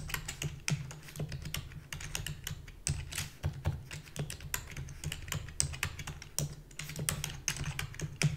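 Rapid typing with long fingernails and fingertips on a full-size black plastic keyboard with a hollow body gives a dense stream of sharp, bright clicks and clacks. Beneath the clicks runs a steady low rumble.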